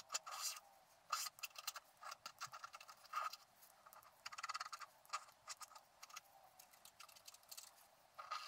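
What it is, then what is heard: Scratch-art card being scratched. A wooden stylus scratches across a flat scratch-art card of black-coated paper, working over the fence area of the picture. Short, dry scratching bursts of uneven length come in quick irregular runs, bright and airy with a faint squeaky tone, no low end, and very little ring after each stroke.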